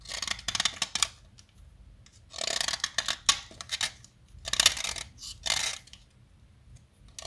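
A small, solid yellow chalk stick, held by a hand with long nails, is shaved and carved with a metal utility knife blade, and chalk flakes fall away. Bursts of dry, bright scraping come in repeated strokes with short quiet gaps between them.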